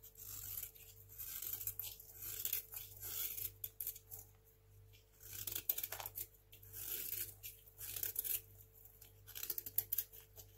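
A craft knife blade slices shavings off a small, solid, dry white hotel soap bar stamped "SOAP." Repeated crisp, bright scraping and tearing strokes come in uneven bursts over a faint steady low hum. The shavings peel away with a dry, crunchy rasp.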